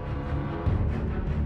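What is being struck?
Nothing is struck.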